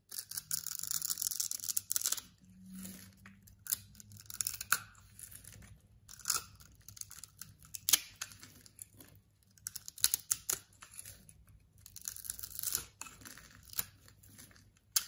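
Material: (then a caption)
Soap. A palm-sized, solid light blue bar of soap, scored in a grid pattern and held in the palm, is cut and scraped with a metal blade. The blade breaks off small soap cubes in a run of dry, bright scraping, crackling and sharp snaps, with short quiet gaps between strokes over a faint low hum.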